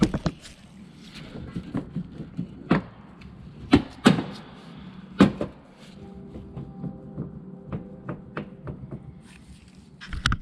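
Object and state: Worn CV axle, clunking.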